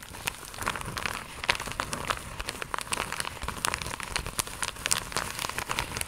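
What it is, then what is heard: Plastic mailer pouch. An iridescent, croc-embossed holographic plastic mailer pouch, slightly bent, is tapped and scratched with long acrylic nail tips. The result is a dense stream of quick, bright clicks and crinkly scratching that stays fairly even in loudness. Each tap is sharp and dry, dying away almost instantly.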